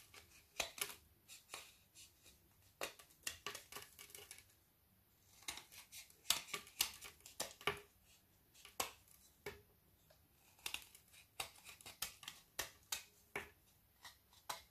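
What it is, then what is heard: Frozen chocolate bar shaved with a knife. A small metal knife scrapes and shaves curls off the edge of a frozen, hand-sized Milka bubble bar, solid with a milk chocolate shell and aerated white chocolate inside, held in one hand while shavings pile up on a wooden table. Quiet, bright, crisp scraping bursts come in quick uneven runs, with a short pause just before the fifth second.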